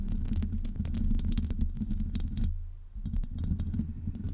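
Both hands scratch the hollow woven metal mesh grille of a Blue Yeti-style USB microphone with long almond-shaped acrylic nails. The result is a dense, close, low rumbling scrape studded with bright clicky ticks. It briefly thins to a low steady hum before the scratching picks up again.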